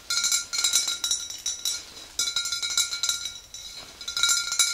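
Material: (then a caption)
Glass. Long green nails on both hands tap quickly across the body of a tall clear glass swing-top bottle filled with pale yellow liquid. The result is a rapid, uneven run of bright, thin clinks, each with a short glassy ring. The taps come in bursts with brief pauses between them.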